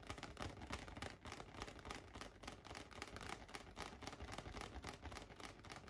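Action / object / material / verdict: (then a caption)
tap / inflated latex balloon / latex / none. A large light-blue inflated latex balloon, hollow and air-filled, rests on a lap and is tapped with fingertips and nails. A rapid, irregular stream of soft, hollow thumps and bright nail clicks fills the clip, each tap dying away almost instantly.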